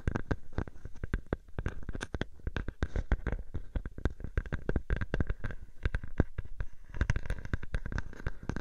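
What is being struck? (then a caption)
Plastic bubble wrap sheet. A clear plastic bubble wrap sheet draped over a microphone is squeezed and scratched at its edges by fingertips and nails. Dense, rapid crinkly crackles and scratches sound over a low, muffled rumble close to the mic, with sharp clicks flashing up bright throughout.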